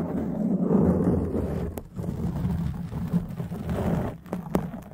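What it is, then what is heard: Foam microphone windscreen being scratched. A black foam windscreen on a microphone is cupped and scratched with the long, dark-painted nails and fingertips of both hands. The result is a dense, muffled, low rumbling rustle, punctuated by a few brief, sharp clicks.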